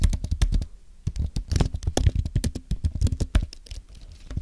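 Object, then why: Aluminium and plastic low-profile keyboard. A white Apple Magic Keyboard with an aluminum base and plastic keys, thin and solid, is typed on with the fingertips of both hands. The result is a fast, uneven run of short, dull taps, heavy in the low end with little brightness. There is a brief slower patch near the one-second mark.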